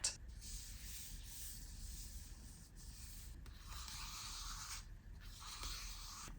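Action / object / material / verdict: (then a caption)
scrape / paper magazine / paper / none. The paper surface of a magazine is rubbed and scraped, giving a steady, soft, hissing scratch with a faint low rumble beneath. A brief louder touch opens the clip, then the scraping grows brighter in two later stretches as the strokes continue.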